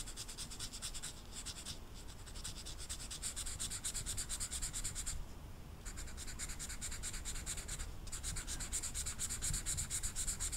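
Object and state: Marker rubbed on velvet-flocked paper.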